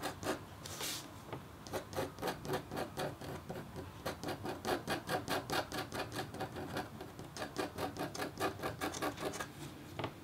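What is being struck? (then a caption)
Scratch art board with copper foil under a black coating, scraped with a metal stylus. A metal-tipped, red-handled scratch stylus scrapes across a flat, thin, roughly A4 copper scratch art board (black coating over copper foil on card) lying on a black table. It makes quick, short scratching strokes at an uneven pace, each a dry, bright rasp with a brief tick, over a low background hum.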